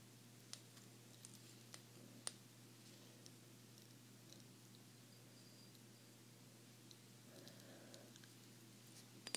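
A small, hollow, green glazed ceramic salt shaker shaped like an alligator is held in both hands close to the microphone and tapped with long fingernails. Sparse, quiet, bright clinking taps sound over a steady low hum, with a few sharper taps standing out.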